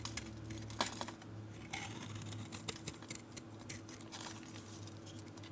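A metal utility blade carves a solid, galaxy-painted oval bar of soap, shaving flakes off its cream interior. Soft, crisp scraping and crackly ticks repeat over a steady low hum, with a few sharper, brighter clicks standing out.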